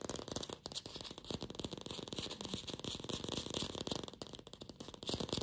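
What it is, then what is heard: Fake plastic apple. Long pink fingernails fast-tap a glossy red artificial apple, likely hollow plastic, making a dense, rapid stream of light clicking taps. The taps sound crisp and bright with short, dry decays and a slight hollow knock.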